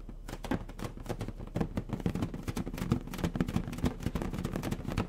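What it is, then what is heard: Latex balloon being tapped and rubbed. A medium orange latex balloon, inflated with air and hollow, is held in both hands while fingertips tap and rub its stretched surface. The result is a steady stream of soft, low, dull thumps mixed with faint rubbery rubbing, each tap dying away almost at once.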